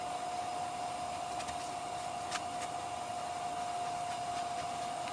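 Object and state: Nothing is struck.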